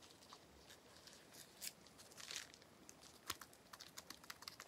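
A small clear plastic bubble wrap sheet with air-filled bubbles is held in one hand and tapped with the fingertips. It gives quiet, bright crinkling taps and short crisp clicks with almost no low end. The clicks come faster and sharper toward the end.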